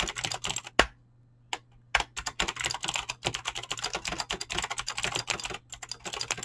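Fingertips with short painted nails type fast on a full-size mechanical keyboard with Razer green clicky switches and pink-blue PBT plastic keycaps resting on a desk. A rapid stream of sharp, bright clicks and clacks with a short pause near the start, broken by a few isolated keystrokes, over a faint low steady hum.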